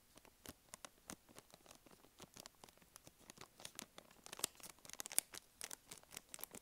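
Long nails scratch and squeeze a small, filled, blue and white soft plastic wet wipes packet, crinkling its plastic film. Quiet, bright, crisp crackles and scratchy snaps come in quick, irregular bursts with almost no low end, each dying away instantly. A few sharper, louder crinkles stand out near the end.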